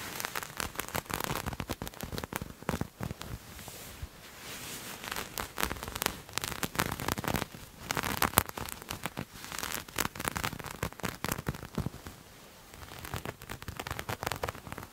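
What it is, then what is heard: Knit fabric being scratched and scrunched. Grey knit fabric with a dotted texture is scrunched in both hands and scratched with fingernails. It gives dense, crackly rustling and scratching in quick bursts across a broad, bright range, with brief softer stretches in between.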